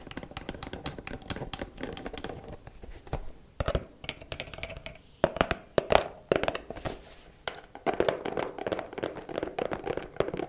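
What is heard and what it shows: Long black acrylic nails tap quickly across the faces and edges of a small, closed, hollow white cardboard gift box tied with a ribbon. The taps are fast, dry and clicky, with a hollow mid-range tone around 650 Hz and light scratchy brushes between them. Each tap dies away almost instantly.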